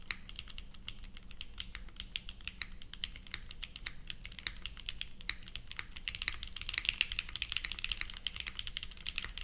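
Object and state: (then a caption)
Mechanical keyboard with plastic keycaps. A purple 60% Leviatán r0 mechanical keyboard, built plateless with GatX r1 switches and ABS plastic keycaps, sits on a felt mat and is typed on steadily with the fingertips of both hands. The result is a rapid stream of short, bright clacks with a soft low thump underneath, and the typing grows denser and louder toward the end.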